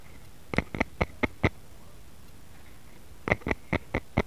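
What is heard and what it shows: A solid, light wooden rice paddle lies flat while both hands tap and scratch its blade with fingertips and short nails. Two bursts of short, dry, woody taps with a bright edge are separated by a pause of about two seconds. Each tap dies away almost instantly.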